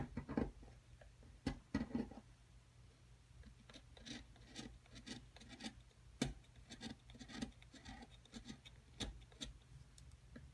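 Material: Plaster.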